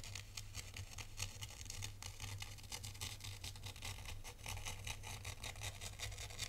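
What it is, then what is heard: Sand tray scratched with a stylus. A hand-held thin black stylus scratches lines into fine white sand in a white sand tray. Its quick, repeated strokes make crisp, bright scratching and crunching sounds over a steady low hum that runs throughout.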